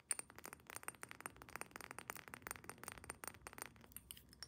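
A small square glass perfume bottle, partly filled with amber liquid and topped with a metal cap, is tapped quickly all over with long painted nails. The result is a rapid, uneven run of short, bright clicks and clinks, each dying away almost at once, over a faint high ringing tone.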